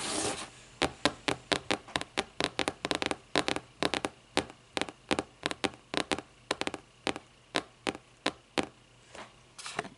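Long nails scratch and then tap rapidly on the lime-green board spine of a closed hardcover book lying on its spine. A brief scratchy rasp at the start gives way to a fast series of sharp, dry clicks that stop almost instantly, over a faint low hum.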